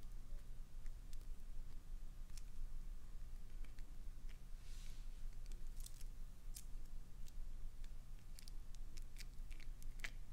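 Long pointed nails scratch and tap the faces and edges of a translucent green solid glycerin soap bar with a clownfish inside, held in the hands. Soft, crisp scratches and short, bright clicks come and go over a steady low hum.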